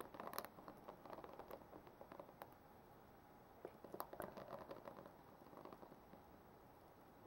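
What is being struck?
Plastic paddle hairbrush with plastic bristles.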